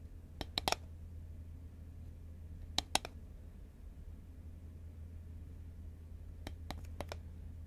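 Long nails tap a hollow green Pringles paperboard chip can held horizontally. Short, dry, high clicks come in three quick bursts over a steady low hum, each tap stopping almost instantly.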